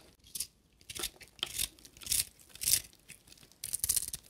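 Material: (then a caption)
Soap. A small solid bar of dry blue and white soap, held in the fingers, is shaved and scraped with a carving knife blade, raising flaky curls. Each stroke makes a dry, bright scraping rasp, and the strokes come in irregular bursts with short pauses between them.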